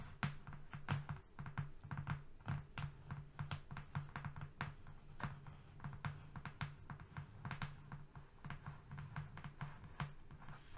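Fingernails tap rapidly across the surface of a flat brown cardboard sheet, producing a dense stream of short, dry taps with quick decay. A steady low hum runs underneath the whole time.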